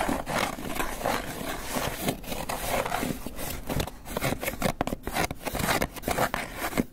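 Fingernails scratch and tap on the lid of a small, hollow, closed white polystyrene foam clamshell takeout box held close. The result is a steady run of dry, squeaky scraping and rubbing that sounds almost like a creaking groan, broken up by short, sharp taps with very little ring.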